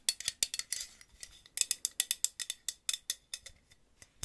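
Long nails fitted with paper clips tap a purple Aussie hairspray aerosol can, a hollow aluminum can with a plastic cap. About twenty quick, bright metallic clicks and ticks come in an uneven rhythm, each dying away almost at once with very little low end.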